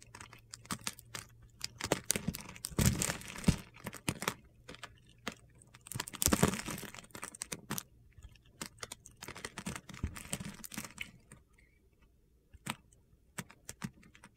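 A solid oval yellow bar of soap, held in the palm with its surface scored into small cubes, is cut and scraped with a metal utility-knife blade. Dense bursts of crisp, crunchy scraping and clicking are heard as crumbly pieces break off and fall away.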